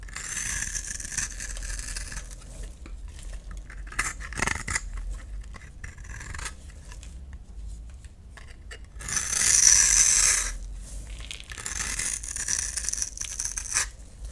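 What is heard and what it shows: A solid oval peach-colored bar of soap, held in the hand, is sliced and scraped with a utility knife blade into curly shavings. Bright, hissing scrapes and crisp cutting strokes repeat throughout. A longer, louder shave near the middle carries a thin, high squeal.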